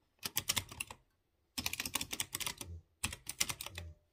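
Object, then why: Typewriter-style mechanical keyboard with round metal-rimmed keycaps. Fingertips type on a typewriter-style mechanical keyboard with chrome-rimmed round keycaps over exposed blue switches. Three short bursts of quick, bright, clicky keystrokes are separated by brief silences. Each click is crisp and dies away almost instantly.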